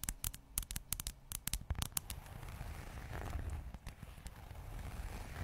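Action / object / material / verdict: tap / textured leather zip wallet / leather / none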